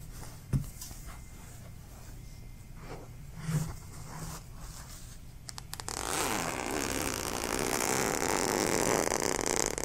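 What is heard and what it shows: A stuffed, soft yellow plush fabric pillow is held up and repositioned while its fabric surface is scratched and rubbed with fingertips and nails. Quiet, sparse rustles and a couple of soft low thumps give way, about six seconds in, to louder, continuous, bright scratching across the fabric.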